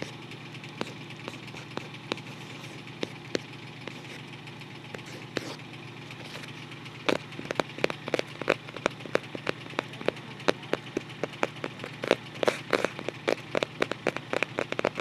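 Fingertips and short nails scratch and tap the white printed "Happy Family" paper-covered cardboard front cover of a closed photo album held upright. Sparse, quiet clicks over a steady low hum build after about 7 seconds into rapid, sharp taps with bright scratchy edges. The hits are short and dry, with no ringing.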